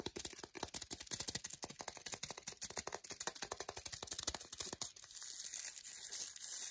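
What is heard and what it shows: Long decorated nails tap quickly on a solid, flat milk chocolate bar held in the hand, its green printed paper wrapper over foil giving dozens of sharp, bright, crinkly clicks. After about five seconds the tapping gives way to a steadier, hissy scratching across the wrapper surface.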